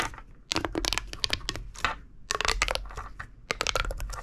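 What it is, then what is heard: Plastic pop tube toy. A small, hollow red-orange corrugated plastic pop tube is gripped in the fist and fingers and repeatedly compressed and stretched, while a purple tube lies unused nearby. It gives bursts of sharp, bright crackling pops with quiet gaps between them. Each pop stops dead with almost no ring.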